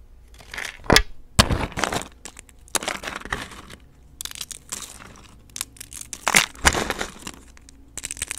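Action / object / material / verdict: scrape / soap flakes and shavings / soap / none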